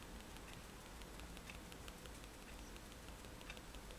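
The metal tip of a fine-liner pen taps repeatedly on a white paper page of a spiral sketchbook lying flat on a table, making stippled dots. Quiet, quick, bright little ticks patter steadily over a low, constant hum.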